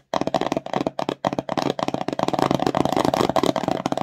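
Long nails rapidly tap and scratch a small, empty, glossy cardboard slime box, which sounds hollow. Dense, dry clicks and scrapes come in quick bursts, with a few short pauses early on before a steady, busy patter. The sound is mostly mid-range with crisp edges and no lingering ring.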